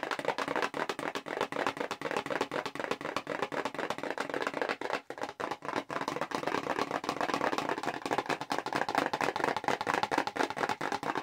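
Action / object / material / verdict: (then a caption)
tap / small paperboard box / cardboard / none. Long pink acrylic nails tap fast on the front of a small, hollow red Clinique paperboard cosmetics box held in both hands. The result is a dense stream of quick, dry clicks with a hollow, papery knock centered in the mids and almost no low end. The tapping briefly thins out near the middle, then picks back up.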